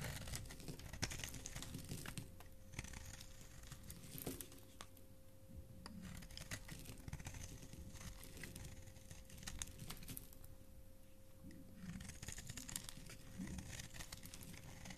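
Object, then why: Bar of soap. A flat metal blade continuously shaves a solid striped bar of soap held in the palm, sending flakes flying. Dense, crisp scraping and crinkling sounds run throughout in quick overlapping strokes, with a quiet, low-heavy body, brief bright edges and a faint steady tone underneath.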